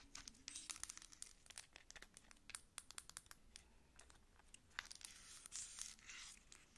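Long acrylic nails tap and scratch along a medium, dark plastic pump bottle of body lotion with a paper label that looks full. Quick, sharp, bright clicks come in an irregular rush, mixed with dry, crinkly scraping. There is little low end, and each tap stops almost instantly.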